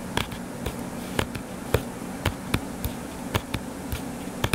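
Fingertips and short nails tap on a closed hardcover book with a blue cover and a solid paper page block, lying flat on a table. Twelve short, dull, soft taps with a bright tick land at an uneven pace and stop almost at once, over a faint steady low hum.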